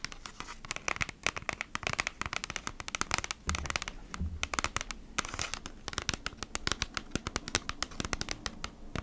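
Long nails tap and scratch across the front of a thin, hollow kraft cardboard Bee's Wrap package held flat in both hands with contents inside. Rapid, dry, bright clicks and scratchy rasps fill the clip, each dying away almost instantly. A few duller, low thuds come through from the hollow sleeve around the middle.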